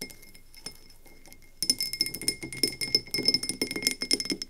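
Long nails tap quickly on the sides of a medium frosted glass candle tumbler with an ombre finish and a paper label, filled with wax and standing on a wooden table. After a quiet stretch of faint ticks, a rapid run of sharp, bright clicks begins, each with a short, high, glassy ring that dies away almost immediately.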